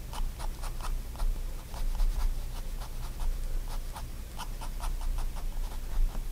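A pigment liner pen draws short lines and hatching on a flat sheet of white sketchbook paper. Each stroke makes a quick, dry scratching tick, and the ticks come in a steady, uneven rhythm over a constant low hum.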